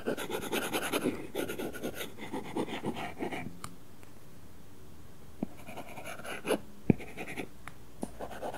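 A stylus tip scratches across an iPad's glass screen covered with a matte, paper-feel plastic film, making rapid coloring strokes. Dense, papery scratching fills the first three and a half seconds, then falls nearly silent. Scattered short taps and brief strokes follow before the scratching resumes near the end.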